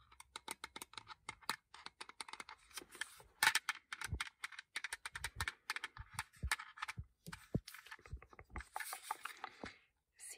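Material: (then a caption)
Plastic. A small, flat, hard black plastic CD/car cassette adapter, a hollow shell with a cable attached, is held in one hand and tapped and scratched with long painted fingernails. The result is a quick, dense run of crisp, bright clicks and brief scratchy rasps with very little ring. A few hits carry a soft low thump from the hollow shell.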